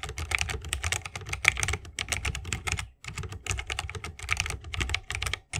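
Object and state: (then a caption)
Mechanical keyboard being typed on. Fingertips of both hands type continuously on a 60% mechanical keyboard with plastic keycaps and Holy Panda tactile switches, set in a bamboo wooden case. Quick, crisp, bright clacks with a deeper thocky body run in a steady stream, broken by a brief pause midway.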